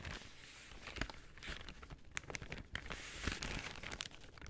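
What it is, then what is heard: Paper bag crinkled and scratched. A folded brown kraft paper shopping bag is crinkled and opened by hand while fingernails scratch across its surface. Soft, quiet rustling runs throughout, broken by sharp, bright crackles and short crunchy bursts of stiff paper.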